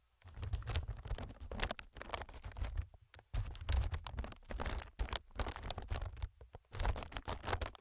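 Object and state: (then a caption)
Plastic air packing pillow. Fingertips tap and scratch across a clear inflated plastic-film air packing pillow, making a quick, continuous patter of soft, dull thumps with bright crinkly scratching on top. The bursts come in dense runs with brief pauses near three seconds and again around six and a half seconds, and each touch dies away almost instantly.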